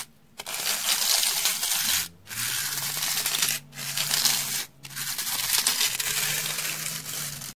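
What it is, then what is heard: Dry floral foam block. A solid, porous rectangular slab of beige dry floral foam is held in hand and scratched along its faces and edge with a round hair brush with stiff dark bristles. Four long passes of dry, bright, hissy scratching are separated by brief pauses, and the sound is almost entirely high with very little low end.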